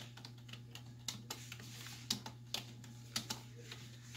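Typing on a black plastic desktop keyboard with hollow keys, struck by fingertips and long white nail tips, gives quick, bright, short clicks at an uneven pace. A steady low hum runs underneath the whole time.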